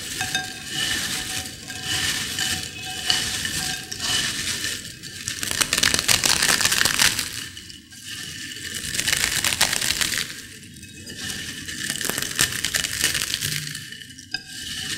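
Long-nailed fingers crush and stir small potato chip fragments in a white ceramic bowl. Dense, bright crackling and crunching rises and falls in waves, with sharp little clinks over a steady gritty rustle.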